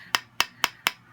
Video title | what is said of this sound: Bath bomb swirling technique | When you hear the hollow sound, you know it is ready to just pop off.